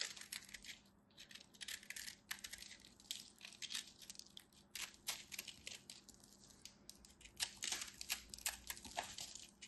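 A craft knife held with long white nails cuts and scrapes a solid, fist-sized ball of compressed multicolored soap flakes, sending crumbs flying off. Quiet, bright, crisp crunches and short scratchy clicks come in uneven bursts over a faint steady low hum, each snap dying away almost instantly.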